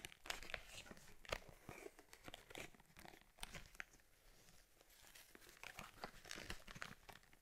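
Fingertips and long nails rub, squeeze and tap a closed cowhide leather camera case for an Argus C3 camera, with rivets and a strap, as it is turned in the hands. Dry creaks and crinkly, bright scratches come in irregular quick bursts over a soft low rustle, each dying away almost at once.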